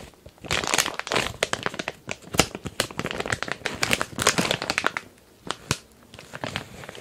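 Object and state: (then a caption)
Plastic bag of kinetic sand. A medium glossy printed plastic package filled with kinetic sand is held tilted while fingertips scratch and crinkle its surface. Dense, bright crinkling and crackling comes in bursts of quick sharp snaps, with brief quieter pauses between handling.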